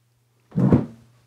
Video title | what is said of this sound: Chillout Q&A Live Stream While Putting Together My RepBox From Repkord | Sounds like wood. It is wood. It's not acrylic.